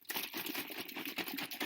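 A clear container of thin, fast-moving rubbing alcohol is shaken, producing quick, bright sloshing and splashing. The liquid moves rapidly, unlike slow, thick honey or olive oil.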